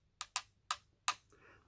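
Four bright, sharp metallic taps on the yoke of Hifiman closed-back headphones, a yoke pressed and formed from a flat sheet of metal, probably stainless steel. Each tap is a quick tick with a high ring near 1.2 kHz that dies away almost at once, clearer than the thud of a plastic yoke.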